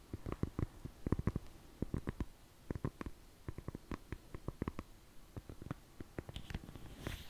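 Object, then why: Foam orthopedic insole. A black and blue foam orthopedic insole is flexed and curved in the hands while long fingernails scratch and tap it. The result is a quiet stream of soft, muffled, low thumps and short clicks with very little ring, ending in a brief brighter scratchy rustle.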